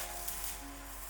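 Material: Nothing is struck.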